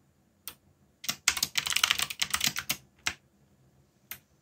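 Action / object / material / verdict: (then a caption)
tap / mechanical keyboard with plastic keycaps / plastic / none. Fingertips type on a backlit mechanical keyboard with black plastic keycaps. A lone keystroke is followed by a dense burst of quick, bright plastic clicks, then a few more isolated taps. Each click is sharp and dies away almost instantly.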